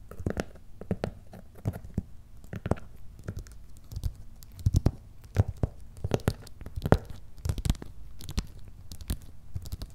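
Fingertips and nails scratch and tap the paper shipping label on top of a hollow, medium, closed corrugated cardboard box that has paper shipping labels. The result is a steady run of short, dry, crunchy scratches and quick hollow taps with a low, boxy thump and almost no ring, some bursts sharper and louder than others.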